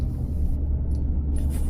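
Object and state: Nothing is struck.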